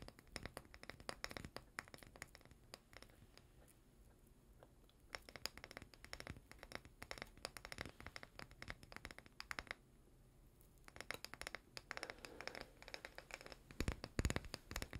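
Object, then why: Small glass jar with plastic lid. Fingernails scratch and tap across the body and label of a small, full glass chocolate-spread jar with a white plastic lid, held in both hands. Dense bursts of dry, crackly scraping come in quiet, close bursts, with short near-silent pauses around 4 and 10 seconds before the scratching resumes.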